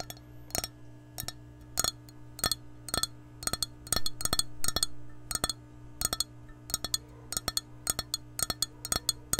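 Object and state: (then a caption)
Glass measuring cup, empty. An empty glass measuring cup with a handle is held sideways and tapped with long nails, giving a series of short, bright clinks that die away almost at once. The taps come singly and in quick clusters over a steady low hum.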